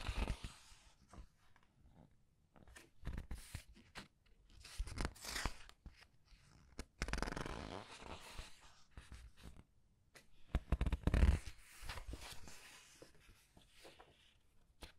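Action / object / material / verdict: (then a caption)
scrape / paper pages of a large book / paper / none. Fingers flip and rub the paper pages of a large art book, making soft papery rustles and crinkly swishes with a few dull low thumps. The sound comes in uneven bursts with quiet gaps between them.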